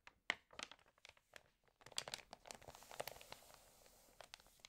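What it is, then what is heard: Glossy paper magazine. Fingertips rub the glossy paper of an open, water-damaged magazine lying on a full-page ad, then turn the page. Quiet, bright crinkles and short, sharp paper ticks come first, with brief pauses. They build into a denser, continuous crinkling rustle as the page turns over.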